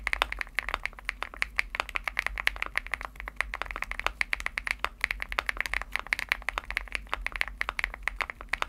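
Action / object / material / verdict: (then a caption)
tap / aluminum-case mechanical keyboard with plastic keycaps / aluminum, plastic / none. Fingertips type steadily on a Womier SK75 75% mechanical keyboard with an aluminum case and pastel plastic keycaps; the case is hollow with foam inside. The taps are rapid, crisp and short-lived with a bright, clacky character centred around 2 kHz and very little low end, over a faint low hum.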